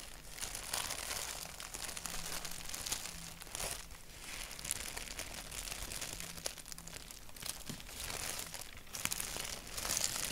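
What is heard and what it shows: Fingertips tap and scratch a thin white paper sheet printed with a black doodle, then grip its edges. The result is a steady, bright crinkling and rustling with small crisp clicks, with no loud peaks.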